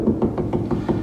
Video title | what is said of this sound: John Works Too Much S2 E10 Our Salvation Comes Through Our Suffering | see how that sounds solid there's a screw right there